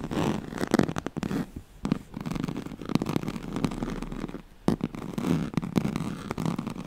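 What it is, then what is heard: Woven straw-like fabric mat. Long nails scratch across the ribbed weave of a thin, flexible yellow-and-black striped woven oval mat with a piped edge, made of a straw-like fabric. The result is a dense run of rapid, close-set raspy scrapes, heavy in the low-mid range with almost no bright top. A few brief pauses break the scratching.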